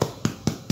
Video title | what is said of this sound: Pan Casero para Principiante facil y sencillo de preparar en casa sin complicaciones paso a paso. | bien creux ça sonne à l'intérieur